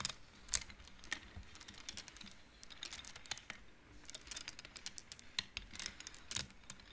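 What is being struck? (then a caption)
Wooden abacus beads on metal rods. Both hands push the colored wooden beads along the metal rods of a large wooden-framed abacus so they clack together. A quick, uneven stream of short, dry, bright clicks comes through, each one dying away almost at once over a faint, steady hiss. A few clacks stand out louder than the rest.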